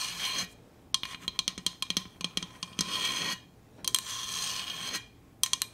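Long acrylic nails tap and scratch along the coated sides of a large, hollow, red powder-coated Hydro Flask stainless steel insulated water bottle with a black plastic lid, held in the hands. Bright, raspy scratching bursts alternate with rapid runs of sharp, ringing taps. The sound is thin and high with almost no low end.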